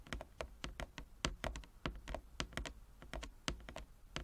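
Long nail tips from both hands tap quickly across a large, flat wooden chess board with inlaid squares. The result is a rapid, uneven run of short, crisp clicks with bright tops and a low, dull knock underneath, each dying away almost instantly.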